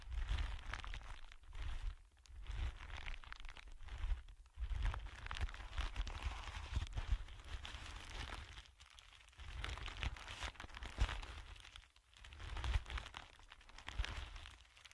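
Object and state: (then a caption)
Clear plastic wrap being crinkled. A thin sheet of clear plastic wrap lies flat on a dark surface while the fingertips of both hands rub and crinkle it. The result is a steady, dense crackling and rustling over a low rumble, broken by brief quiet gaps around 2, 4.5, 9 and 12 seconds.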